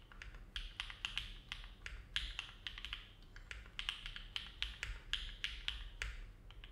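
Fingertips of both hands type steadily on a compact silver-cased mechanical keyboard with an aluminum plate and dark plastic keycaps, resting on a desk mat. The result is a quick, uneven stream of short, bright clacks centered around 3.3 kHz, each dying away almost at once, over a faint low rumble.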